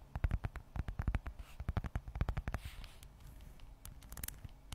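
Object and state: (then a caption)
Leather wallet. Long acrylic nails scratch and tap on the textured surface of a closed, hand-sized red leather Michael Kors zip wallet held near the microphone. A quick run of soft, dull, low thumping taps gives way to quieter scratching in the middle, then a few sharper, brighter clicks at the end.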